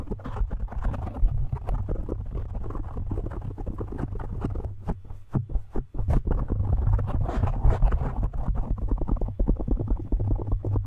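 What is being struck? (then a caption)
Foam microphone windscreen. Fingertips of both hands quickly tap and scratch a large, soft, porous black foam windscreen on a studio microphone. The result is a dense stream of rapid, muffled thuds and scratchy rustles, almost all deep low-end rumble with no bright top. The rhythm briefly thins out around the middle before resuming just as busy.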